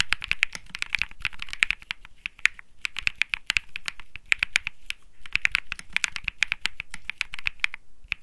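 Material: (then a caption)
Plastic. Fingertips type rapidly on a small cream/white Think 6.5 mechanical keyboard (Bsun Lollipop) with plastic keycaps, resting on a grey felt mat. A dense, uneven stream of short, sharp clacks centers around 2.4 kHz with bright top edges and a light low thump beneath. Each keystroke dies away almost instantly, with brief pauses between bursts of typing.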